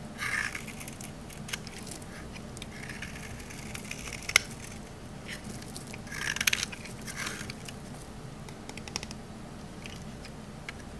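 A metal knife blade shaves the face of a rectangular, solid green olive-oil soap bar held in the hand, peeling off crunchy flakes. Quiet, bright, dry scraping and crackling run throughout, with a few sharp snaps standing out over a faint low background hum.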